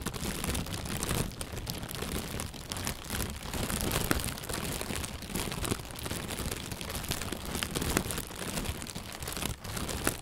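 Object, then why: Inflated plastic bag. An inflated, hollow white plastic bag is held from below and squeezed and rustled with the hands. It makes a steady, dense crinkling rustle with many quick crackles and a soft low thump underneath, and there is no talking.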